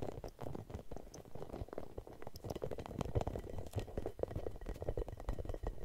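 A red hollow rubber spiky massage ball is scratched and rubbed with long nails and fingertips. It makes a dense, continuous stream of soft scratchy taps and rubbing, with a muffled, low-heavy texture and very little brightness.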